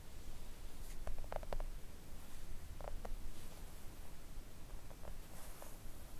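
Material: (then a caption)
Silicone. Long coffin-shaped press-on nails gently tap a thin, solid, flat pink silicone mat lying on a table. Soft, dull, clicky taps come in small clusters over a steady low rumble and faint hiss. Each tap stops almost instantly with no ring.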